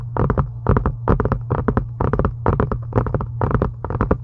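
Long acrylic nails tap a solid, pink embossed faux-leather journal cover. Quick clusters of three or four soft, muffled taps repeat steadily over a constant low hum, each tap fading almost at once.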